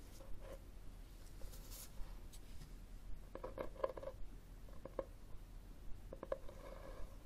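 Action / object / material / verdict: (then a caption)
tap / cloth-covered hardcover book / cloth, board / none. Fingernails scratch and tap the cover of a solid, red textured cloth-covered hardcover book standing upright on a table. Soft, dry scratching is broken by light, irregular taps that give short, dull knocks with a faint mid-pitched tone, heard over a quiet low background hum.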